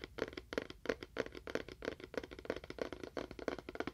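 A small, hollow, seemingly empty rectangular cardboard box with a faux wood-grain print is held beside a binaural microphone, moved from ear to ear, and tapped quickly with fingernails. It gives a fast, uneven run of dry, hollow clicks with a mid-low knock around 470 Hz and a papery brightness above. Each tap dies out almost at once.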